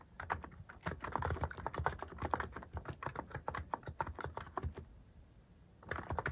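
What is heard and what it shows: Fingertips type steadily on a Hanmumu mechanical keyboard fitted with plastic cat-shaped keycaps, producing a fast, dense run of short clacky keystrokes with a low thock beneath bright clicks. The typing thins to near quiet around five seconds, then picks back up briefly at the end.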